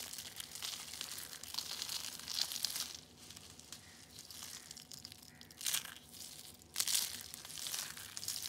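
Orange and yellow dried soap curls, thin brittle rolled sheets, are squeezed and crushed in both hands into flakes. The sound is a bright, dense crinkling crunch with almost no low end. Louder bursts of crackling come and go over the clip.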